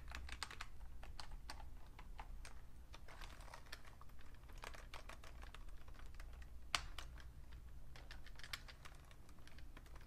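Fingertips with painted nails type on a vintage beige plastic full-size Fujitsu Siemens computer keyboard with a hollow case, producing quick, light clicking taps with short, bright attacks that die away almost at once. The taps come in irregular bursts over a steady low hum that runs through the whole clip.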